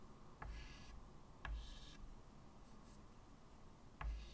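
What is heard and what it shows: White chalk held in the fingertips draws curved lines across a medium, flat, solid chalkboard with a wooden frame lying on a table. Three quiet scratching, rubbing strokes each begin with a sharp tick and trail into a bright, airy hiss over a low background rumble.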